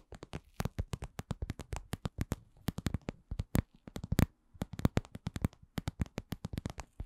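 A cosmetic pouch is tapped in a steady run of short, soft, dull taps with a low body and little ring. The taps are quick and close together, each fading almost instantly, with occasional slightly louder ones.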